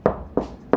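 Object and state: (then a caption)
Hollow drywall wall. Three knocks on a bedroom drywall wall give a hollow, resonant thud centred around 400 Hz with a brief ring. The wall sounds hollow, like a normal interior wall, unlike the ceiling, which makes no sound when knocked and resisted drilling, so the ceiling is believed to be concrete.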